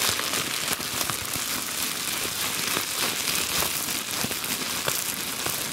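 A crumpled sheet of clear plastic bubble wrap, held in both hands, is scratched and squeezed with long glitter nails. It makes a steady, bright crinkling and crackling with dense, rapid, irregular snaps and little low end.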